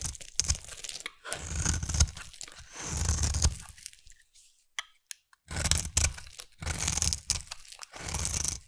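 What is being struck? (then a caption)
Bar of soap cut with a knife blade. A utility knife blade carves a hand-held solid rectangular yellow soap bar into thin stringy shavings. Long, crunchy, tearing scrapes combine a low, dull body with a bright, hissing edge. The strokes stop briefly in the middle for a near-silent pause, then resume.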